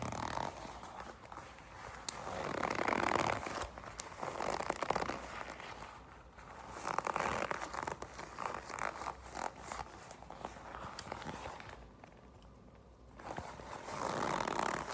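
A black leather jacket panel is held in both hands while long acrylic nails and fingertips grip, crumple and rub the thin leather. Soft crinkling and scraping swells and fades in waves, centered in the mids with light crackles and occasional sharp clicks between.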